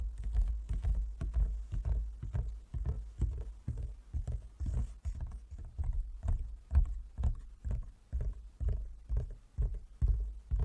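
Fingertips and nails of both hands tap on a large, closed, hollow wooden folding chess board. The taps land as a steady, slightly uneven patter of soft, low, hollow thuds, about two per second, each dying away almost at once. Faint clicks from the nails sit on top of the thuds.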